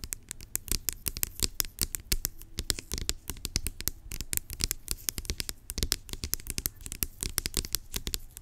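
Long acrylic nails scratch and tap the top of a large, hollow, blue-labelled plastic pump bottle lying on its side. The result is a dense, rapid stream of sharp, dry clicks and scratchy rasps with bright high edges and a hollow low thump, each hit dying away almost at once.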